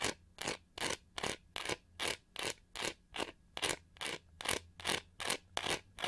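Long nails scratch quickly across the textured back of a pink-gold, pyramid-studded plastic hair brush with a hollow shell, held in hand. The result is a steady run of short, bright, raspy scrapes, each a separate burst of hissy texture with a faint low body and almost no ring. The strokes come in a fast, slightly uneven rhythm with quiet gaps between them.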